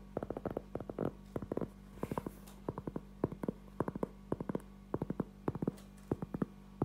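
A round, flat cork trivet board about 20 cm across, thin and solid, is held upright in both hands and tapped and scratched with fingertips and short nails. About forty quick, dull, soft taps fall in uneven clusters, each dying away almost instantly, with brief scratchy rustles around the first and second seconds over a faint steady low hum.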